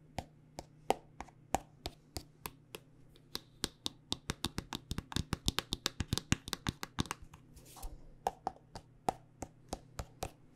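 Long nails tap along the length of a hollow, partly full white plastic body butter squeeze tube with a red cap, making around forty quick, dry, clicky taps with bright tops and almost no ring. The taps come at a steady pace, cluster faster and louder in the middle, then spread out again. A brief soft rustle sounds near the end, over a faint steady low hum.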